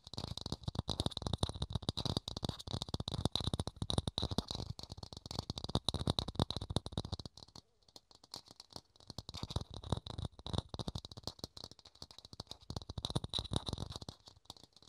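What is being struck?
Thin plastic dome lid.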